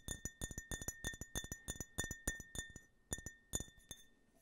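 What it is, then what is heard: Empty glass tumbler. An empty, hollow clear glass tumbler with a US-flag print, held horizontally, is tapped with fingertips and nails in quick, uneven bursts of about 22 light clinks. Each tap gives a short, bright glassy ping with a steady ring near 1.8 kHz and higher overtones that fade within a tenth of a second.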